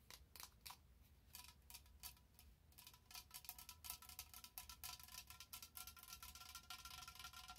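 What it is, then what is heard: Plastic spray bottle. Long nails tap and scratch a tall orange plastic body-mist spray bottle with a cream cap, held in both hands. Quick, bright, crisp clicks come in an uneven run, sparse at first and then denser. Each click has a short hollow plastic ring over a faint low hum.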